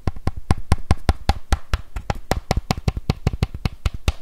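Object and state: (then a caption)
Plastic bike helmet being tapped. Fingertips and nails tap and scratch a hollow, green, hard-shell plastic bike helmet with vents. About 21 quick, dry taps land in a steady run, each a dull, low thud with a short, bright click on top. Each tap dies away almost at once.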